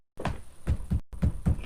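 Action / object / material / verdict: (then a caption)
knock / old plaster wall / plaster / hollow. Knocking on an old plaster wall produces a series of short, low, hollow thuds with almost no ring. The knocks show the wall is hollow, in contrast to the dull spots where wood sits behind the wall holding a shelf bracket.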